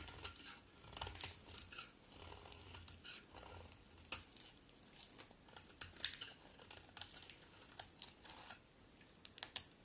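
A solid white bar of soap, held in the hand, is carved with a metal utility knife blade, sending flakes flying. Quiet, bright, crisp scraping and crackling shaves come in a steady run of short strokes, with a few sharper cuts standing out.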